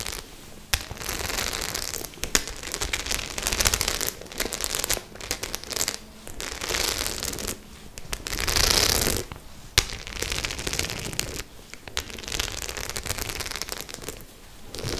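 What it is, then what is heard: Studded faux leather clutch bag. A white studded faux leather clutch bag is tilted in the hands while long nails scratch and tap its metal studs. Dense, bright crackling scratches come in bursts with sharp clicking taps, separated by brief quiet gaps.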